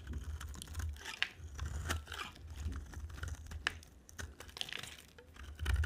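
A utility knife blade scrapes and carves the surface of a solid, dry, green and white striped soap bar held in the hand. Crisp, crackly scraping and short, bright cutting clicks repeat over a steady low hum. Flakes shave off with a dry crunch.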